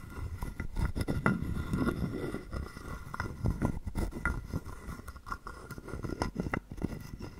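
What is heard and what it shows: A palm-sized, hollow carved wooden frog guiro, held in the hand, has a wooden stick scraped along its ridged back to make its croak. The result is a quiet, irregular run of short, dry, ratchety scrapes and taps, about three per second. The sound is mostly low and woody and dies away almost instantly.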